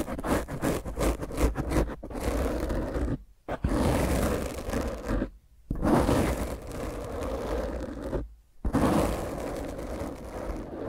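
Fingertips and long nails of both hands roughly rub and scratch a black foam microphone windscreen. The result is a dense, low-heavy, rumbling scrape with rapid strokes at the start, followed by sustained rough rubbing broken by three brief silent pauses.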